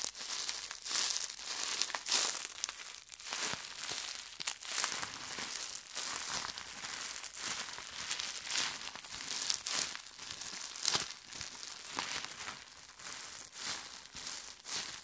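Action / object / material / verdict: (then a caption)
shake / plastic bubble wrap / plastic / none. A hand-sized wad of clear plastic bubble wrap with hollow air bubbles is held in the hands, crumpled and squeezed with the fingers to pop the bubbles. Bright, dense crinkling runs throughout, punctuated by sharp, irregular pops and crackles with almost no low end.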